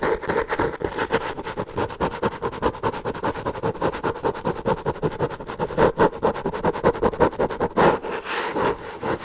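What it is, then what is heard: Kraft paper covered notebook being scratched. Long nails scratch rapidly across the brown, textured kraft or cork-like cover of a solid hardcover notebook. The result is a dense, steady run of quick, dry scratching strokes with a papery mid-range rasp and little echo, the strokes blurring into a continuous texture that swells and eases slightly.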